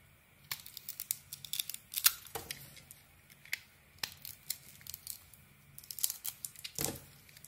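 A metal knife blade shaves and carves a solid green-coated white bar of soap, producing a quick series of dry, crisp scraping and crackling strokes. The sound is bright and high-pitched with little low end, and each stroke ends sharply without ringing.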